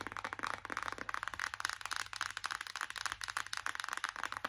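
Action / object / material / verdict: tap / cardboard palette box / cardboard / none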